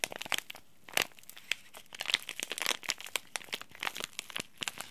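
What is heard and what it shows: A small green laminated plastic and foil tea bag sachet is crinkled and folded by the fingertips of both hands. Dry, bright crackles and sharp little snaps come in quick, irregular bursts with almost no low end. Each crinkle dies away instantly, leaving short quiet gaps between the rustling clusters.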